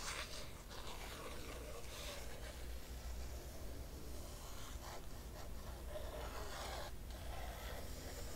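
A long fingernail traces an illustration on the glossy printed page spread of an open hardcover art book. It makes a soft, continuous scratchy rubbing that carries on steadily for the whole clip over a low, steady hum.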